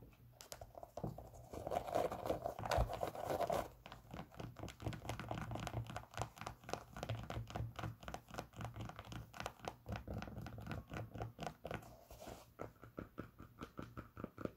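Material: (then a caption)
Knit fabric. Long pink nails scratch the knit fabric upper of a hollow, empty pink Champion sock-style sneaker held in the hands. A louder, dense rasping scratch in the first few seconds gives way to quick, irregular scratching strokes, about four per second, with a soft, muffled fabric tone.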